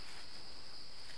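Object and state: Nothing is struck.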